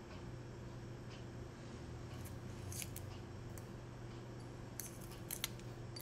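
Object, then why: Boiled hen's egg with brown shell. Fingertips and nails pick at, crack and peel the thin shell off a small whole boiled brown hen's egg held over a small cup, exposing the white egg underneath. Faint, crisp crackling and clicking bursts of shell come through in scattered clusters over a steady low hum, with the sharpest snaps near the end.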